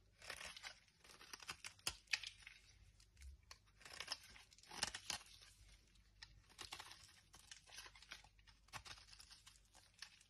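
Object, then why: Bar of soap shaved with a knife. A hand with long red nails holds a dry, solid blue striped oval bar of Dettol soap and shaves it with a metal knife blade, so brittle chips fall away. The result is a quiet run of bright, crisp scraping and crunching bursts, with sharp crackles between softer rasping passes.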